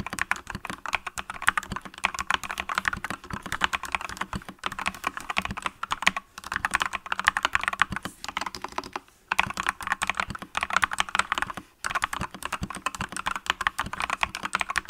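Two hands type rapidly with fingertips and long painted nails on a full-size, green-cased mechanical keyboard with yellow and green plastic keycaps, likely PBT. The result is a dense, continuous stream of short, bright key-press clicks and taps with little low end. The typing briefly pauses near the nine- and twelve-second marks.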